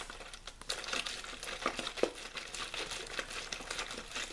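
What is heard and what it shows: A hollow, clear plastic water bottle with a blue label is crinkled and squeezed quickly by fingers. Steady, bright crackling fills the clip, with sharp snapping crunches rising above it and almost no low end.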